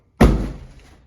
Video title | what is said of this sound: How to Pack Glasses and Dishes for your Move | you can hear nothing's going to break as long as you have your box packed properly